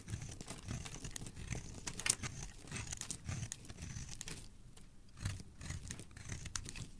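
A solid pale pink-white oval bar of white soap is held in the hand and scraped with a metal blade, peeling off flakes and shavings. The result is a steady, quiet, crinkly scraping with a soft low rumble under bright hiss, broken by a sharper crack just after two seconds and a brief lull near five seconds.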